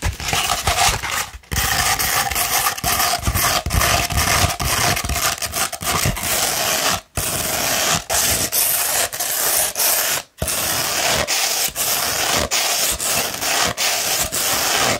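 Long red nails scratch a sheet of coarse 60-grit sandpaper rolled into a hollow tube, making a dense, bright, gritty rasping. The scratching runs almost continuously, broken only by a few brief pauses.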